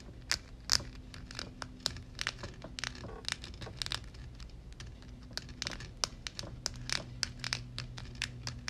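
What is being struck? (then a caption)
Metal mesh microphone grille. Long red nails tap and scratch quickly across the dark, hollow metal mesh grille dome of a Blue Yeti microphone. Many sharp, bright clicks with very short decay ring out over soft scratching and a faint, steady low hum.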